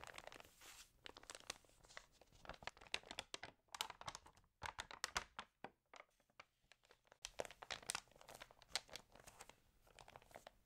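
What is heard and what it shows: Fingertips with long nails rub and crinkle the pages of an open, water-damaged glossy-paper magazine lying flat, then turn one page. Dense, bright, dry crinkles and crackles run throughout, thinning to sparse rustles and scratches in the middle before building back to steady crinkling. Each sound is short, with no ring after it.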